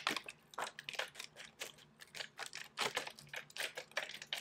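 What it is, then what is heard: Plastic water bottle. A thin, hollow, clear plastic drinking water bottle with a blue label is held in one hand and crinkled, squeezed and shaken by fingertips with long pink nails. The result is a quiet, rapid series of sharp, bright crackles and clicks with very short decay and almost no low end.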